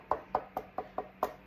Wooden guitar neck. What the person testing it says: If you hear rattling, which you don't hear on this, thank God, you know it's something loose with the truss rod.